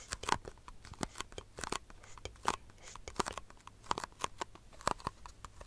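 A small, empty, disposable white plastic cup, hollow and upside down, is tapped and scratched with long fingernails. Sharp, irregular clicks with brief, bright, hollow plastic pings ring over a soft, dry scratching between them. The taps are quick and uneven, and each one dies away almost at once.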